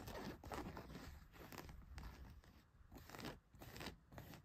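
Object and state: Denim jeans fabric.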